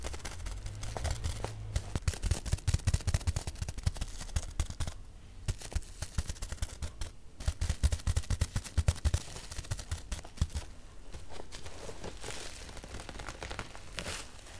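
A hand with medium-length pink nails presses, scratches and taps with fingertips and nails on clear plastic bubble wrap around a large package with a cardboard label and barcode; the package looks hollow or boxed. Dense, rapid, short crackles and dull taps with heavy low-end thumps are heard, possibly from some bubbles popping, easing briefly into softer scratching near 5 seconds and again after 10 seconds.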